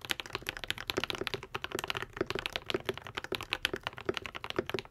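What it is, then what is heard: Mechanical keyboard with plastic keycaps. A modded Epomaker TH80, a white and pink 75% mechanical keyboard with Akko V3 Cream Yellow switches and plastic keycaps, is typed on continuously with the fingertips of both hands. A rapid, steady stream of short, crisp clacks with a bright top and a soft low thock underneath follows, each keystroke stopping almost instantly with no ring.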